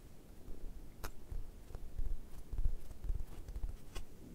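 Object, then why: Foam squishy toy shaped like toast. Fingertips and nails scratch and press the surface of a solid, brown, leather-textured foam squishy toast held in one hand. Soft, low, muffled squishing and pressing sounds continue throughout, with a few brief, bright scratchy clicks from the nails.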